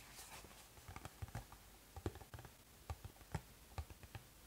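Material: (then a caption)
Cardboard. Fingertips tap the back of a cardboard Pocky box held in both hands. Ten soft, dull, low thuds land at an uneven pace over a faint, steady hiss, and each dies away almost at once.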